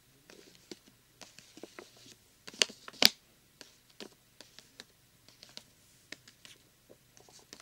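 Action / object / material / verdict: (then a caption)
scrape / thin plastic glow stick package / plastic / none. A thin plastic glow stick package lying flat is scratched and rubbed with fingertips and short nails, giving a soft, writing-like rasp. Short, bright scratches come in an irregular patter, with two louder sharp scrapes near the middle.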